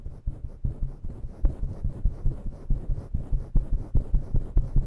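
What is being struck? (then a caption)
Synthetic fur microphone windscreen. Long natural nails scratch and rub roughly with both hands over a fluffy grey and black synthetic-fur windscreen covering a microphone. The result is a fast, uneven run of deep, muffled thumping and rumbling strokes, almost entirely low in pitch with no bright edge.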